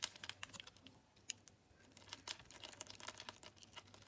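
A metal utility knife scrapes and slices pieces off the grid-scored surface of a solid teal Lux bar soap. The result is a quick, uneven run of faint, crisp, bright crackles and ticks, each dying away almost instantly, with almost no low end.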